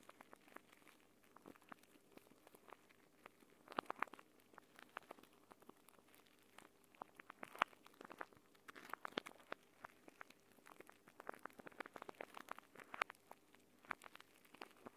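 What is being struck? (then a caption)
Plastic pouch of gel beads. A clear plastic gel bead eye mask, a pouch filled with green gel beads, is held folded in both hands and squeezed and scratched with the nails so the beads shift inside. Quiet, irregular crinkling and crunchy clicks, with occasional sharper scratches, run throughout at a low level with a faint steady hum underneath.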